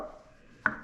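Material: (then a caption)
Wood. A single knuckle knock on the wooden cabinet of a cheaper, lighter budget bookshelf speaker gives a short, hollow tap centred near 1.5 kHz that dies away almost at once. The hollow sound indicates the cabinet walls are much thinner.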